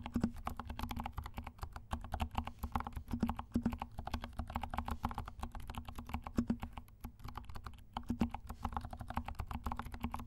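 Fingertips of both hands type continuously on a compact 68-key mechanical keyboard with black and pink plastic keycaps and silent switches. The keys give a rapid, steady stream of soft, muted, low thuddy taps that die away almost instantly, with little brightness and a faint steady low tone underneath.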